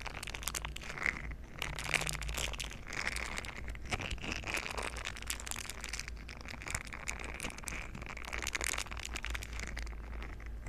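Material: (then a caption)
Silicone. A green silicone scrubber pad with bristle nubs is bent and squeezed in both hands while its bristles are rubbed together with the fingers. The result is a continuous, dense run of soft crinkling, squelching rubs and bright crackly ticks, with a steady low hum underneath.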